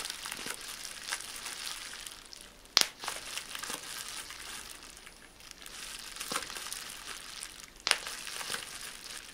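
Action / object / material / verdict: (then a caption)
scrape / plastic bubble wrap / plastic / none. Small air bubbles in rolled, clear plastic bubble wrap are pinched between fingers and thumb, giving a steady bright crinkling of plastic. Two sharp, loud pops stand out above the rustle, each dying away almost instantly.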